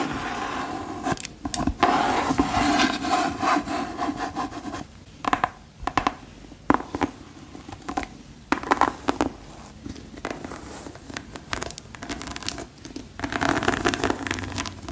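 Long pearl-decorated nails rub, scratch and tap the shaft and treaded sole of a single hollow, empty, yellow glossy rubber rain boot. The result is an irregular stream of dry, scratchy rubbing with squeaky mid-range tones, broken by sharp, quick taps and brief pauses.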